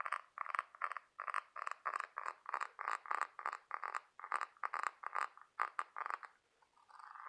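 Fingertips and nails tap and scratch the ribbed outer surface of a large white scallop half-shell held in hand. The result is a quick run of short, dry, raspy bursts centred in the mid range around 1.2 kHz with a bright edge, each dying away at once. It ends after a brief pause in a softer, continuous scratch.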